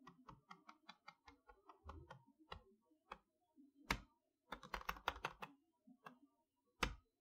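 Long nails and fingertips tap on the front of a large printed cardboard retail box for a Mickey Mouse magnetic chalkboard, which has a clear front window and is held upright and probably empty. About twenty quick, dry, hollow clicks come in an uneven, typing-like rhythm, with short pauses and a few sharper, louder taps near the end.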